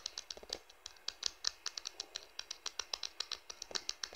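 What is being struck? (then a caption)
Plastic smartphone back panel. Fingertips and nails tap quickly across the plastic back panel of a blue smartphone, near the camera. About 27 short, dry, bright clicks come in a fast, uneven patter, each stopping instantly with almost no low end.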